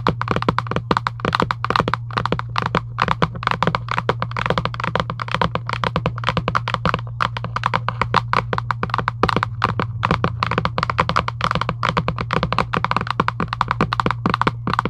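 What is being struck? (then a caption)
Cardboard card box. Long acrylic nails tap rapidly on a flat printed cardboard UNO card box resting on a table. The result is a dense stream of short, dry clicks with almost no ring, over a steady low hum throughout.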